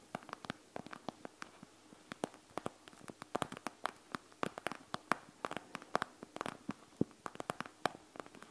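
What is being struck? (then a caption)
Plastic eye mask filled with gel beads. Long acrylic nails scratch and tap across the gel bead surface of a flat, soft, panda-shaped eye mask with a clear plastic shell and fabric trim, lying on a wooden table. Quiet, crisp clicks and scratchy ticks come in an irregular patter, each dry and short with no ring. The clicks are bright, centered around 1.1 kHz, over a faint hiss.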